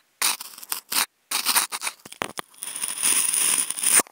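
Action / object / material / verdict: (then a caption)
scrape / polystyrene foam food container / polystyrene foam / none. Wooden toothpicks held in clip microphones scratch a hollow, octagonal white polystyrene foam food container. Short, dry, bright scratches come in quick separate bursts, then merge into a steady scraping with a thin high squeak before it stops abruptly.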